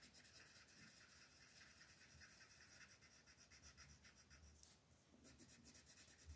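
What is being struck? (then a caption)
Colored pencil on thin paper sheet. A green colored pencil held in the fingertips scratches and rubs across a thin white paper mandala sheet lying flat on a table while coloring, as the other hand holds the sheet still. The soft, bright, raspy strokes run in a steady rhythm, easing briefly near the five-second mark before picking up again.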